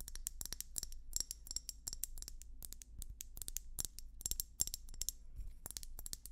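A hollow, bulbous red-and-white swirled glass hummingbird feeder is tapped rapidly with long nails. The result is a steady stream of sharp, bright clicks with almost no ring, over a faint low hum.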